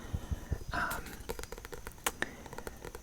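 Fingers tap on the Matilda book, a quick run of short, dry taps with low thuds and brief brighter clicks that die away almost at once. A soft, breathy whoosh is heard near the start of the taps.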